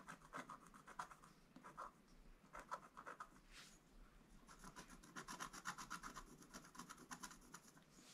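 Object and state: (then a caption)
Scratch art board being scratched. A wooden stylus scratches strokes across a flat, black-coated scratch art paper board. Quick, dry rasping strokes come in irregular bursts, about four per second, each with a scratchy mid tone and a bright, hissy top, over a quiet background.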